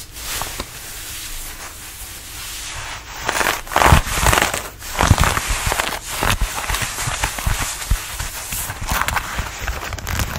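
Fingertips scratch the fabric of a fitted denim dress being worn, working over the hip, waist and elasticated neckline. Irregular bursts of dry, bright scratching and rustling rise and fall, with soft low thumps beneath the steady fabric noise.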